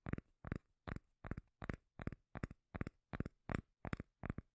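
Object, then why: Round cork lid. Long nails tap and scratch the face of a round, palm-sized, solid cork lid held near the mic. Twelve short, evenly spaced bursts, each made of quick double taps, carry a deep, bassy thump with a faint scratchy hiss on top, and every one dies away almost at once.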